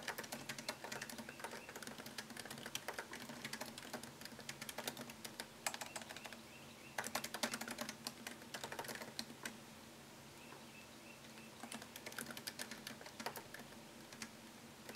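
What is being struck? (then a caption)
Laptop keyboard with plastic keys in an aluminum body. Fingertips type fast on a MacBook Pro keyboard, its low-profile plastic keys set in a thin solid aluminum chassis. Quick, bright clicks arrive in dense bursts separated by brief pauses over a faint steady hum.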